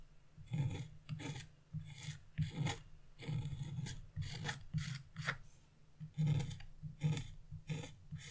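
A wooden-handled gouge or chisel, held upright by a hand with blue nails, scrapes across wax-coated scratch-art paper, leaving black flakes around it. Short, raspy scraping strokes repeat in quick bursts with brief pauses, giving a dry, low, rubbing sound with little ring.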